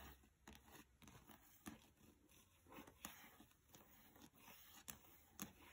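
A small, closed paperback book with a glossy cover lies on carpet while fingertips and long nails rub and scrape across the cover. The result is a quiet, dry, papery scratching with soft brushing strokes and a few sharper, bright nail ticks that die away almost instantly.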